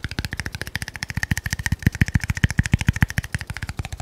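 A small, cylindrical red glass bottle with a label, apparently filled, is held in one hand close to the mic and tapped rapidly with the fingernails. The result is a fast, steady stream of short, dry taps, each with a deep low thump and a faint glassy ping around 2 kHz that dies away almost at once.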